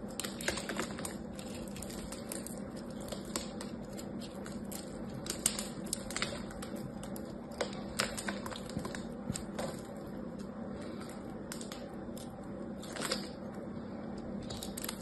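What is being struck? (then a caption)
Bar of soap. A small knife carves and scrapes a solid rectangular bar of soap held in the hands, its surface gold-painted with a diamond pattern, cutting grid lines and flaking off shavings. Many quick, crisp scraping clicks with bright, high edges sit over a steady low hum.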